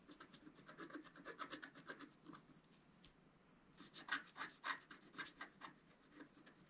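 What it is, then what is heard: Scratch art paper card. A wooden stylus scratches the right side of a flat scratch art sheet, a black coating on paper. Quick, dry scraping strokes come in an irregular rhythm, then pause briefly. They resume louder and brighter with sharper, raspy strokes before easing off.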